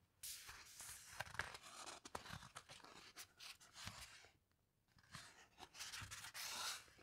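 Fingertips with long nails slide along a thick, glossy, heavyweight paper page of a large hardcover coffee table book lying open on a carpet, rubbing the paper as they guide the page through a slow turn. Bright, crisp rustling and crinkling runs with small scratchy ticks, fades to a near-silent pause, then the papery sliding picks up again.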